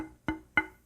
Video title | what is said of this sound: KIM WALKER 03 - Tap Tone Wood | This is just mahogany and you can hear that there's not a whole lot of resonance in the neck.